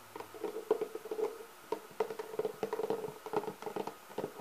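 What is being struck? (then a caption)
Textured hard-shell clarinet case. Both hands rub, scratch and tap the lid of a black, leather-textured hard-shell clarinet case with nails and fingertips. The result is a quiet, irregular run of short taps and scratchy rubs. Each tap gives a brief hollow knock with a steady midrange resonance that dies away almost at once.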